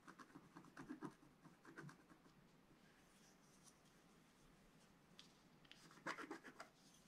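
A wooden stylus scratches and rubs away the black coating of a flat scratch art card resting on a table. Quiet, dry scratching strokes come in short bursts, fade to a faint rubbing hiss in the middle, then return as sharper, brighter scrapes near the end.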